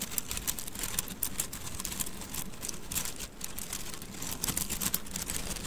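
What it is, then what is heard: Bundle of wooden mikado sticks. A handful of thin painted wooden mikado sticks, held horizontally in both hands above the microphone, is rolled and rubbed together with the fingers. This produces a steady, dense stream of bright clicking and rattling over a low, rumbling background.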